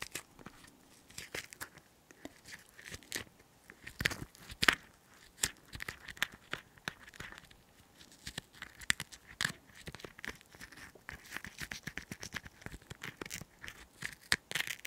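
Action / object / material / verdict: scrape / green chili pepper half scraped inside with a cotton swab / chili pepper / none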